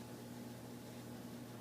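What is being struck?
Nothing is struck.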